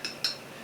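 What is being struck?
Small power supply box casing.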